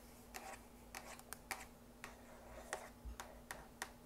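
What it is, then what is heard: Hollow cardboard box. A long, narrow printed cardboard box for a drapery rod lies on a table and is tapped and scratched with long acrylic nails. About eleven quick, light, hollow clicks and taps sound over a faint steady hum.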